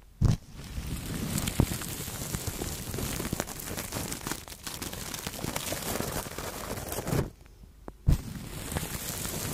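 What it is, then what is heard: Plastic cling film brushed over a microphone. Two soft makeup brushes brush and rub over clear plastic cling film wrapped around the head of a Blue Yeti microphone. The result is a steady, low-heavy crinkling and rustling with brief sharp thumps near the start and around the eighth second, and a short near-silent pause just before that second thump.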